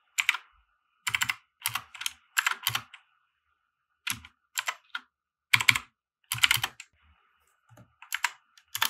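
Fingertips of both hands type on a compact RGB-backlit mechanical keyboard with white plastic keycaps resting on a grey felt desk mat. Quick bursts of bright, sharp key-press clicks and clacks come in clusters separated by short silent pauses, each keystroke dying away almost instantly.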